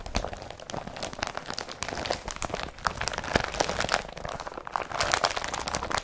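Hands grab and crumple an empty blue woven polypropylene IKEA BRATTBY carrier bag. The result is a dense, steady stream of dry crinkling and crackling, with many short, sharp, bright snaps and almost no low end, running for about six seconds.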